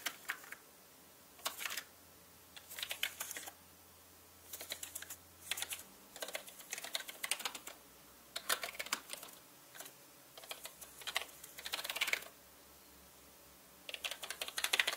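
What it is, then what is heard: Plastic mechanical keyboard. A paintbrush brushes across the hollow plastic keycaps of a black mechanical computer keyboard, giving bursts of clicky, rubbing, bright sounds. The bursts come in short clusters separated by near-silent pauses, with soft, quick ticks and no low rumble.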